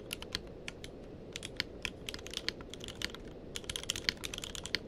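Fingertips of both hands type continuously on a tenkeyless mechanical keyboard with plastic keycaps. Quick, bright, clacky keystrokes follow one another in an irregular stream, each stopping almost instantly, over a faint, steady low background hiss.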